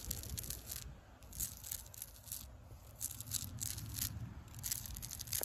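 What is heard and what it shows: Long pink acrylic nails scratch the furrowed bark of a solid tree trunk, making dry, bright scraping and crunching bursts in quick clusters. A low rumble runs steadily underneath.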